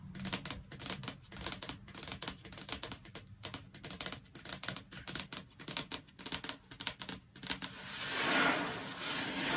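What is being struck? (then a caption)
Wooden desk top. Long blue acrylic nail tips tap rapidly with both hands on a flat, solid wood-grain desk top, possibly laminate, producing dozens of quick, dry, bright clicks in an uneven rhythm. In the last two seconds the tapping gives way to a continuous, rising, hissy scratching sound.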